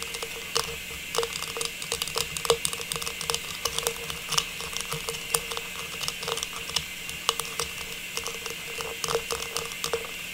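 A small, hollow, silver metallized plastic star tree topper is held upright in both hands and tapped and scratched with long pink nails. Quick, bright, dry clicks with a faint hollow tone around 465 Hz patter over a steady hiss. Brief scratchy rasps run between them for the whole clip.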